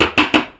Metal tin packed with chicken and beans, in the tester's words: हा पूर्ण डब्बा भरल्यामुळे त्याचा आवाज जरा वेगळा येतोय